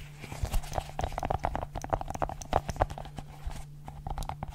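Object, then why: Silicone pop-it bubble ball. A multicolored silicone pop-it fidget ball, held in one hand, has its bubbles popped and tapped with long nails. The result is a quick, uneven run of soft, dull pops and clicky taps with a hollow mid tone, each dying away almost at once, over a steady low hum.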